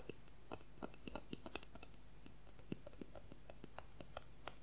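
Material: Plastic.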